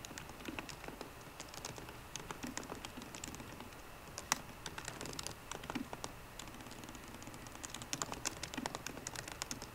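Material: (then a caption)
Plastic. Fingertips and short nails of both hands type steadily on a 13-inch MacBook Pro keyboard with plastic keys in an aluminum body. Quick, bright, clicky key taps come in a continuous stream, with a few louder strokes standing out, over a faint low background hiss.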